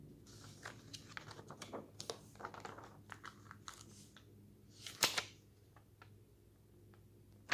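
Fingertips grab, flip and rub flat the pages of a thin glossy paper magazine lying open on a wooden table. Quiet, bright, crisp rustles and short crinkling flicks come in an irregular run, with one louder sweeping swish of a turned page near the five-second mark. Each sound dies away quickly over a low steady hum.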